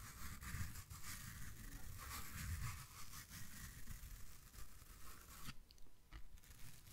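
A small yellow foam kitchen sponge with a scouring side, soft and porous, is held in both hands and scratched and squeezed with fingertips and nails close to the mic. Dense, crunchy scratching and rustling textures with bright hiss and low thumps continue steadily, thinning out near the end.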